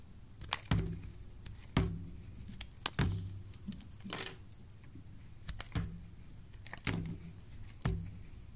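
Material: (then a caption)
Soap. A solid bar of yellow soap held in the hand has chunks and flakes scraped off it with a metal blade tool. Irregularly spaced, crisp cuts sound as low, dull thunks with sharp bright clicks, along with a longer hissing scrape partway through. Each cut dies away quickly into quiet.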